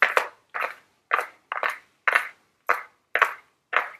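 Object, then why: Small flat cardboard makeup palette box. Very long blue nails tap and scratch the printed front of a small, flat Ellen Tracy cardboard makeup palette box held in the hands. About eight short, dry bursts come at an uneven pace, some with a quick double tap. The bursts are papery and mid-pitched with a slight bright edge and almost no ring.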